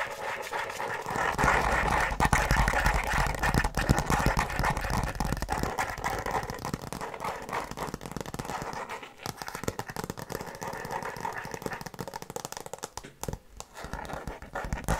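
Long nails scratch and tap the cover of a tablet folio case made of faux leather over a hard shell with a printed tree design. The result is a dense, continuous scratching texture with quick, dull taps and low thumps throughout. It is busiest in the first six seconds and briefly quieter around nine and thirteen seconds.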